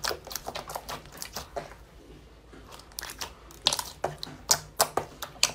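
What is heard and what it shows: Bare fingertips and palms press, pinch and squeeze a large, flat sheet of soft, solid, translucent pink glitter clear slime on a white surface. The result is a series of bright, short crackling pops and squelches at an uneven pace, with a brief quieter stretch before the pops grow sharper toward the end.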